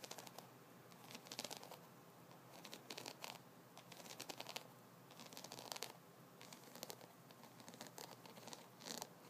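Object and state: Wooden massage brush.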